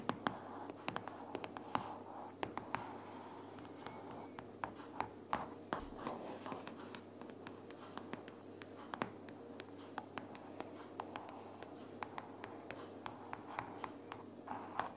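A closed pink paperboard sticky-notes organizer lying flat is tapped with the fingernails of one hand with long purple nails. Quick, dry, clicky taps come in an irregular, rapid stream over a soft papery rustle, mostly in the midrange with little bass. Each tap dies away almost instantly, and the overall level stays quiet.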